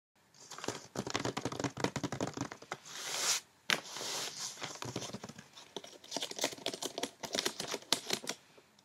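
Long red-painted nails and fingertips quickly tap and scratch the top of a medium rectangular cardboard box wrapped in glossy white paper with a blue snowflake pattern and a small silver bow, resting on a bed. The hollow box gives a dense run of short, bright clicks and papery scratches, with a brief pause near the middle.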